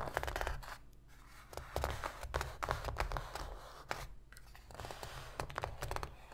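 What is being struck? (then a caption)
Cardboard box lid. Long pink fingernails on both hands tap and scratch quickly across the inner bottom of an empty, shallow white cardboard box lid. The result is bursts of dry, papery clicks and scratchy scraping, broken by brief pauses, over a soft low rumble.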